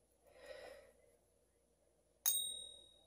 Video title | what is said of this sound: Canadian Silver Saver. Tips on how to test your silver | this will have a different ping. Oh, that was nice. Nice ping. So that one's better.